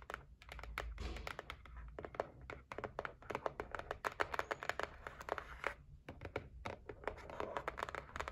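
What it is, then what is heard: Cardboard box tapped and scratched. Nail tips tap and scratch the lid of a closed white cardboard gift box. Dozens of quick, dry taps land in uneven bursts, with short papery scratches and brief pauses between them, and each sharp click stops almost at once.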